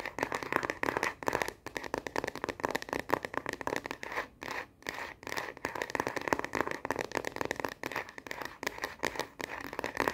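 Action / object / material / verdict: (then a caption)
tap / plastic phone case on a smartphone / plastic / none. A smartphone in a frosted plastic star-print case, held horizontally in both hands, is tapped rapidly on the back with long nails. The result is a dense, continuous stream of sharp, dry clicks, bright in the midrange with almost no low end. There are a few brief pauses between bursts.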